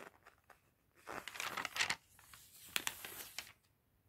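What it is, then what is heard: Glossy paper catalog pages. Fingertips and a gloved hand flip and turn the thin pages of an open glossy paper fashion catalog resting on a table. Quiet, soft taps give way to a louder swell of bright, rustling crinkles, then sharp, crisp page snaps before it fades back to near silence.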